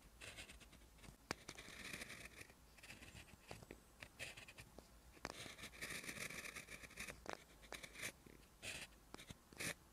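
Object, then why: Gel pen on notebook paper. A clear plastic gel pen, held in the fingertips, is drawn in continuous writing strokes across a lined white page of a spiral-bound notebook lying flat. The result is a bright, dry scratching of the tip on the paper, coming in quick bursts and longer strokes with short gaps, over a faint low hum.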